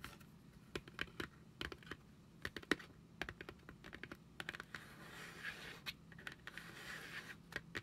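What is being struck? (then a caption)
Printed cardboard product box. A hand-sized, flat printed cardboard Fenty Beauty Pro Filt'r product box, hollow with products inside, is held in both hands and tapped and scratched with long acrylic nails. Quick, dry, clicky taps come in uneven bursts, with softer bright scratching filling the gaps, especially toward the end. Each tap dies away almost instantly, and the overall level stays quiet.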